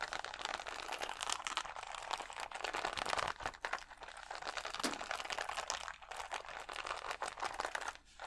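Fingernails scratch along the rows of gems on a clear plastic sticker sheet of acrylic rhinestones held against the chest. They make a dense, continuous crinkling and crackling scrape with a bright, crisp texture and almost no low end. The level rises and dips briefly as the strokes change.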